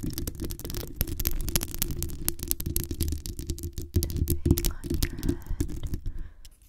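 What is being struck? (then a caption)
Metal mesh microphone grille. Long acrylic nails rapidly scratch the hollow metal mesh grille of a black condenser microphone with both hands. The result is a dense stream of sharp, bright clicks over a heavy, boomy low rumble. It softens and fades near the end.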